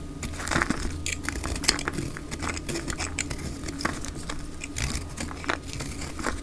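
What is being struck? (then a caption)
Bar of soap. A solid rectangular pink dry soap bar, held in the hand, is shaved with a utility knife blade into thick curling flakes, played at double speed. Rapid dry scraping and crisp, brittle crackles repeat throughout, with bright, short clicks and a low, soft underlying rumble.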